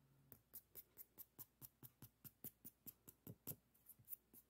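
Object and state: Nail file scratched.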